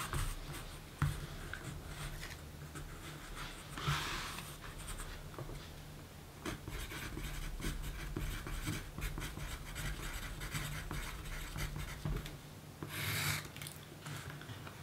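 A yellow wooden graphite pencil writes across a small, thin pink paper note card lying flat on a dark table while a hand holds the card steady. Quiet, continuous dry scratching plays over a steady low hum, with brighter, louder strokes around four seconds and again near thirteen seconds.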